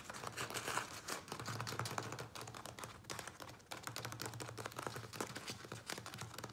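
Fingertips and nails tap quickly on the sides of a small, thin-walled, hollow black plastic nursery pot filled with soil and a plant. The result is a dense, steady run of quick, dry, clicky taps with a bright plastic edge and a soft low body, each tap dying away almost at once.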